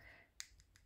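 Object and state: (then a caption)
Dry, fully set acrylic nail. Tapping on a freshly applied acrylic nail laid over foil to check that it has set gives three short, dry, high-pitched clicks. The first click is the loudest, and each dies away almost at once. The crisp tapping sound shows the acrylic is dry.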